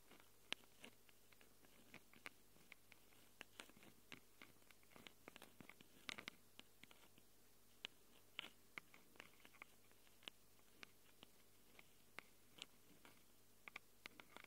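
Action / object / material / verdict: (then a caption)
scrape / Handheld recorder microphone capsules, plastic and metal / plastic, metal / none. Long acrylic nails scratch and tap the metal-rimmed microphone capsules of a small handheld Tascam recorder with a plastic body. Around forty short, sharp, bright clicks and scratchy ticks come through close and quiet, each dying out almost instantly. Beneath them runs a steady low hum.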